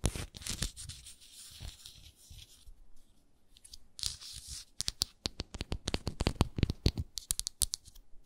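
Long nails scratch and tap the base and sides of a hexagonal frosted glass moisturizer jar. The first half is a rough, bright scratching rasp with a hissy texture. The second half is a run of sharp, dry taps with very short decay.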